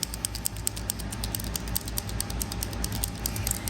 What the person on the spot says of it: you can hear the the little bead rolling around in there